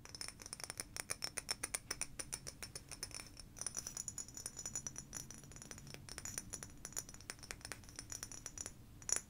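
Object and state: Frosted glass bottle.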